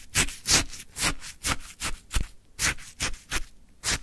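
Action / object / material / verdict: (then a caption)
scrape / frozen shaved ice in a plastic cup / ice / none. A wooden stick scrapes and lifts orange frozen shaved ice from a full plastic cup. About 11 crisp, crunchy scraping strokes come in an even rhythm, each a bright, gritty rasp with a soft low thump underneath. The strokes fade quickly between passes.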